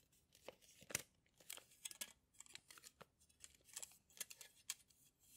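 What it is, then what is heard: Metal tape measure. A yellow steel tape measure in a plastic case has its blade pulled out and retracted by hand while fingers handle the case. The result is a quiet, irregular run of sharp, bright clicks and dry scraping rasps with almost no low end.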